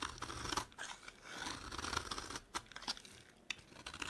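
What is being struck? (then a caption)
Bar of soap scraped with a metal blade. A metal blade scrapes and shaves crumbly flakes off a solid, dry yellow bar of soap held in the hand. Crisp, bright scraping strokes and short crunchy cuts come in quick succession, with brief pauses between passes.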